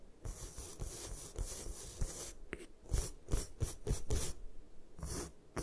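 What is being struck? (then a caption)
Magnesium carbonate gym chalk block. Long acrylic nails scratch and tap a solid, palm-sized block of white magnesium carbonate gym chalk resting on a table. A dry, rasping scrape comes first, then a series of sharp, short taps with bright, crisp edges and a low thud underneath, each dying away almost at once.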